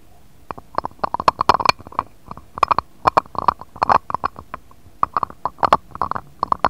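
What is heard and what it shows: A jade stone roller is rolled and tapped across the surface of an empty, shallow, round, clear patterned glass dish. It makes a rapid, uneven series of short, crisp clicks and taps centered around 1 kHz, with bright edges. Each one dies away almost instantly over a quiet background.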